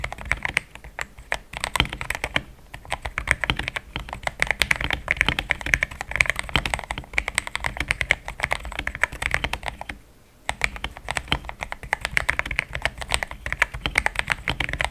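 A compact pink-cased mechanical keyboard with Gateron switches, a polycarbonate plate and cream thick XDA plastic keycaps is typed on quickly with the fingertips. The result is a dense run of short, bright clicks and clacks, centred around 2.3 kHz. The typing pauses briefly at about 10 seconds before picking up again.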